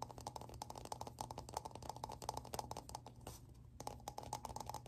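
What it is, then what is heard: Plastic object, tapped. Rapid, close-up tapping on a plastic object produces a steady stream of short, dry clicks with a faint hollow tone near 855 Hz and bright, crisp edges. The taps die away almost instantly, over a low steady hum. Around the 3.3-second mark they pause briefly for a softer rustle, then resume at the same quick pace.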